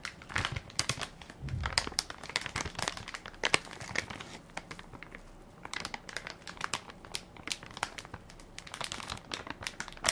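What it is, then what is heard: Plastic baby wipes pack. A full, soft plastic-film baby wipes pack with a plastic lid is held in one hand while fingertips and nails crinkle and scratch its film top. Dense, bright crinkling comes in bursts of sharp, short crackles that stop almost instantly, with a quieter stretch in the middle before the crinkling picks up again.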